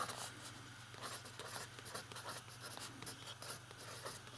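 A fountain pen writes large letters on the page of an open lined paper notebook. The nib scratches across the paper in short bright strokes over a steady low hum.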